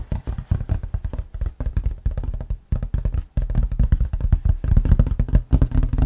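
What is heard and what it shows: Fingertips and nails scratch and tap the glossy lid of a large printed cardboard Monopoly Pokémon board game box held up close. The result is a dense, irregular run of quick, dull, low thumps with almost no ring, broken by a few brief pauses.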